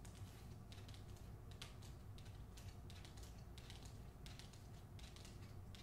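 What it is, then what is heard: Hardcover book with paper dust jacket. Long nails tap and click on the front cover of a hardcover book, "The Hacienda," held up with its paper dust jacket over cardboard. Bright, crisp ticks come in quick clusters, like typing, over a quiet, steady low hum.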